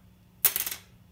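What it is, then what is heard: Bone guitar saddle, dead-sounding. A bone guitar saddle is dropped onto a hard surface, giving a sharp, bright click followed by a few quick small bounce-clicks that fade within about half a second. The tone is high and brief with very little ring, a dead-sounding result.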